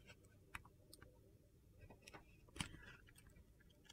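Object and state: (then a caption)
Glitter-coated soap bar being carved. A solid white soap bar with a blue glitter coating and a stamped "SOAP" label is held in the hand while a metal box-cutter blade carves and shaves dry, crunchy flakes from it. Quiet, short, bright scraping crackles sound over a low background, and two sharper snaps stand out.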